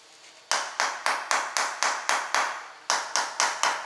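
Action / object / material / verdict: tap / ceramic floor tile / ceramic / solid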